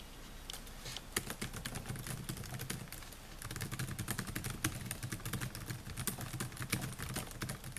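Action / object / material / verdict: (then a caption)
tap / plastic laptop keyboard keys / plastic / none. Fingertips type rapidly on the plastic keys of a silver Dell laptop with a metal and plastic body, producing a steady stream of short, crisp taps. The clicks are bright and dry, with no ring, and sit over a low rumbling hum.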